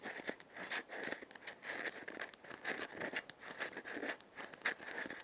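Long nails scratch and tap the shell and wooden handle of a hollow, dried gourd maraca as it is turned. A dry, bright scratching and crinkly rustle comes in uneven bursts with light clicks, all in the mid and high range with no low end.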